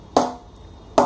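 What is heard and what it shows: A wooden cricket bat, held loosely in one hand, is knock-tested to hear how much life it has. Two sharp, hollow knocks sound about 0.8 seconds apart, each a bright woody tap centered around 550 Hz that fades within a fraction of a second.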